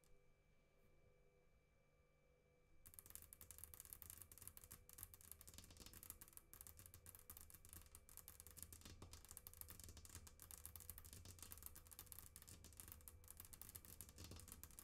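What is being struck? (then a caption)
Glass tabletop tapped and scratched with fingernails. Long pink acrylic nails scratch and tap rapidly on a flat glass tabletop, with both hands kept on the table away from the mic. After nearly three seconds of near silence, a dense, irregular stream of bright clicking and scratchy crackle begins over a low thumping undertone. It continues steadily to the end.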